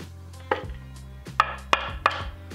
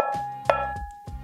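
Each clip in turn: First: aluminum turntable platter damped by rubber mat. Second: ringing bare aluminum platter.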